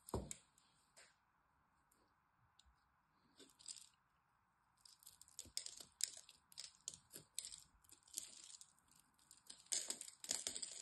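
A metal blade carves and scrapes a solid green dry bar of soap with a stamped brand name, breaking chips off it. The sound is crisp, bright scraping, crunching and clicking over a faint steady hum. It starts with a few sparse scrapes and grows denser and louder toward the end.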